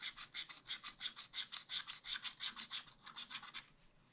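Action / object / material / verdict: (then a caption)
scrape / wax-coated scratch art paper scraped with a wooden stylus / wax, paper / none. A thin wooden stylus scratches off the black wax layer of a scratch art page with ice cream outlines, in a spiral-bound pad lying flat and thin on a table, revealing colour underneath. About 23 quick, bright, dry rasping strokes come in a steady back-and-forth rhythm, then the scratching thins out and fades at the end.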